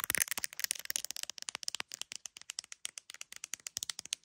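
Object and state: Phone in a plastic case tapped with long nails.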